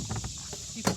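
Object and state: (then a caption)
Hollow-sounding bread loaf, baked through. A finished Italian bread loaf is tapped once up close, giving a single short, hollow thump with a low body and a brief bright edge that dies away almost at once. The hollow sound shows the loaf is baked through.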